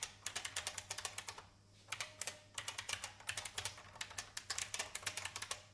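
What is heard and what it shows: Fingertips with red nails type on the keycaps of a vintage beige plastic IBM mechanical keyboard. Bright, sharp clicks come in quick irregular bursts, with a short pause partway through. Each keystroke is crisp and dies away almost at once, with very little low end.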